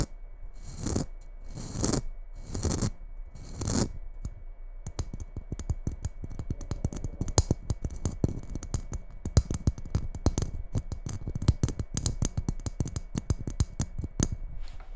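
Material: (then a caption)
Glitter. A small red Christmas bauble with a rough glitter coating is held in both hands while long red nails work its surface. Four slow, rasping scratches across the glitter are followed by a long run of quick, dry, close-up taps and scrapes that stay soft and low-pitched throughout.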